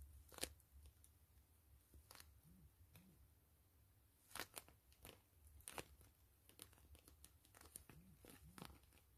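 Long fingernails scratch the crinkly plastic of a gray PVC grid-mesh zipper pouch held upright and hollow. Quiet, sharp crinkling and scratching bursts spread from low to bright highs over a steady low hum, with a few louder rasps standing out.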